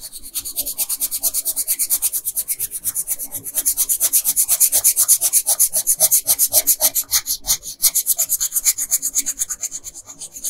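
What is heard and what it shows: A pink wooden colored pencil rubs and scratches back and forth across a flat paper coloring page while filling in a dress hem. The clip is a fast, steady run of bright, hissy strokes, nearly three per second, with almost no low end.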